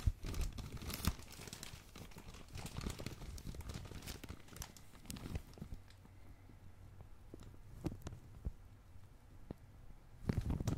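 A medium glossy black, blue and red plastic packaging bag is crumpled and crinkled by hand. Dense crackling fills the first few seconds, then thins to sparse sharp crinkles over a low hum, before a final burst of crumpling at the end.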